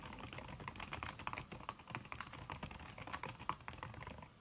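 Fast typing on a backlit aluminium laptop keyboard with a red silicone key cover, struck by fingertips and long red nails. A rapid, steady stream of soft, muffled key taps with short, bright clicks from the nails runs throughout, each tap dying away almost at once.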